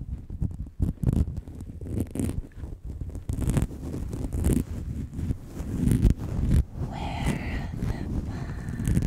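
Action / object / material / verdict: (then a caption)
scrape / synthetic fur microphone windscreen / synthetic fur / none. Both hands rub and scratch a round, fist-sized, fluffy grey-and-white synthetic fur windscreen that sits hollow over a microphone capsule, using fingertips and long acrylic nails. The result is a continuous, crinkly rustling, heavy in deep muffled rumble, with frequent louder scratchy bursts and some brighter rasping strokes toward the end.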